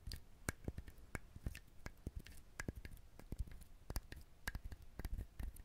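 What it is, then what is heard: Husked coconut. Fingernails scratch the fibrous shell of a whole brown husked coconut held close to the recorder. The result is a quiet, irregular series of short, dry scratches and clicks with a soft low thump under each one, a faint bright edge, and no ring between them.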